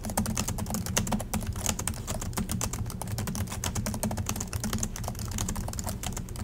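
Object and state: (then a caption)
Plastic laptop keyboard being typed on. Fingertips of both hands type steadily on the black plastic chiclet keys of a silver Acer laptop resting on a desk in dim light. The result is a rapid, continuous stream of short, bright plastic clicks and taps over a steady low hum.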